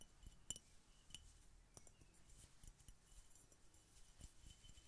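Fingertips in a knitted fingerless glove tap on an empty, hollow, clear glass Coca Cola bottle with a red label, held upright. Quiet, scattered taps produce short, bright glassy clinks over soft low thuds, each dying away almost at once.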